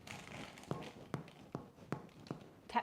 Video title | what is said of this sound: Wholemeal Spelt Oat Bread: Easy Dairy-Free Recipe | and a good way to test if it's done is to tap the bottom and if it sounds Hollow then you know your Bread's cooked